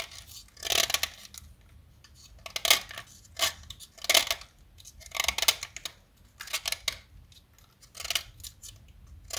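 A small solid yellow blackboard chalk stick, held in fingers with long nails, is carved with a metal utility-knife blade. Short bursts of dry, bright scraping and cutting come in repeated strokes with quiet pauses between them, with almost no low end.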